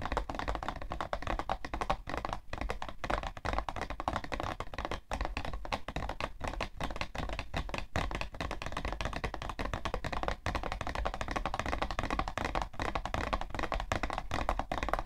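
Long nails tap fast on the side panel of a printed, hollow cardboard tissue box, making a dense, continuous run of quick, dry taps. The clicks are short and thumpy, with a papery mid-range tone.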